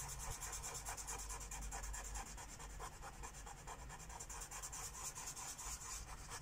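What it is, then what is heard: Felt-tip marker coloring on paper. A lime-green felt-tip Sharpie marker rubs quick strokes across a thin white coloring book page resting on a wooden table. The result is a continuous bright scratching and rubbing in a steady, somewhat uneven rhythm over a faint low hum.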